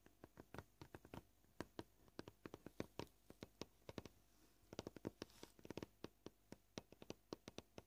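Short painted fingernails tap on a flat, scratched white plastic cutting board at a varied pace. Several dozen gentle, dry clicks are heard with almost no ring, sometimes spaced out and sometimes in quick clusters, over a quiet background.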